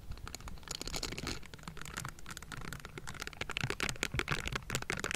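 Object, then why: Metal mesh microphone grille scraped with bristled silicone gloves. Pink silicone gloves with bristled palms and fingers scrape and tap the hollow metal mesh grille of a Blue Yeti microphone. The result is a dense, continuous run of scratchy, crackling brushing with quick tapping clicks, bright hiss and a low rumble underneath. It grows slightly louder and busier toward the end.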